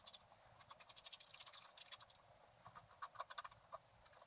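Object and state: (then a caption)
Scratch art paper sheet being scratched. A wooden stylus scratches short strokes into a flat, black-coated scratch art card resting on a table. The strokes come as a quick series of dry, bright scratches with almost no low end, each dying away at once. The sound is quiet and crisp throughout.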